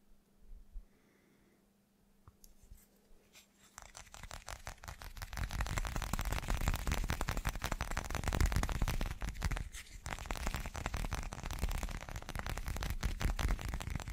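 An irregular, hand-sized chunk of translucent teal slag glass is held in one hand and tapped very fast with the fingertips and short nails of the other. After a few sparse, quiet taps, the tapping builds into a dense, rapid stream of short, dry clicks with low, dull thumps underneath. It stays steady and loud to the end.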